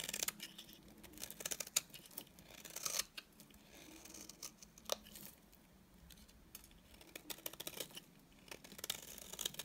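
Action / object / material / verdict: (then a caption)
scrape / bar soap scraped with a blade / soap / none. A utility knife blade scrapes the surface of a solid, dry, cream-colored bar of soap into curls. The result is a run of quiet, crisp, bright scraping and shaving strokes with a dry crackle and no ring after each stroke.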